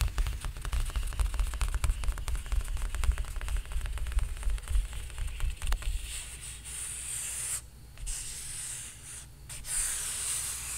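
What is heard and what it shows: Flat fingers rub and scratch across the painted surface of a large stretched canvas on a frame. For about six seconds, quick, uneven scratchy strokes crackle over a low rumble. Then the sound settles into a smoother, steady bright hiss of rubbing, broken by two brief pauses.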